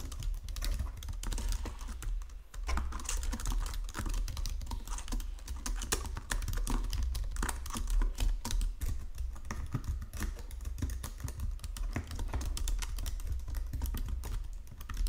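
Fingertips with painted nails type steadily across a full-size white and silver plastic Logitech keyboard with low-profile keys resting on a marble desk. A continuous stream of quick, dense key clicks and taps with a low thumping undertone runs throughout, each keystroke short and dry.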